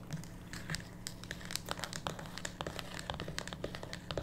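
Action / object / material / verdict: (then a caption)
scrape / cardboard card deck box / cardboard / none. Long pink natural nails tap and scratch the top and sides of a small, closed, printed cardboard tarot/oracle card box lying on a wooden table, hollow with a card deck inside. The result is a rapid, irregular stream of dry, crisp clicks and crinkly scratches with bright high edges and almost no ring, over a steady low hum.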